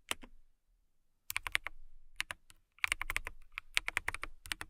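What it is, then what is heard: Acrylic mechanical keyboard being typed on. Long nails tap and type on a transparent acrylic mechanical keyboard with clear keycaps. Bright, sharp clicks arrive in quick bursts separated by brief pauses, and each one stops almost instantly.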